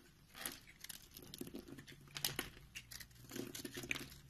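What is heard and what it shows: A box-cutter blade carves and scrapes the scored surface of a solid, palm-sized round orange soap bar with white speckles, held in one hand, breaking it into crumbly pieces. Quiet, bright, dry crunching and crinkling scrapes come in irregular bursts, with a faint low hum underneath.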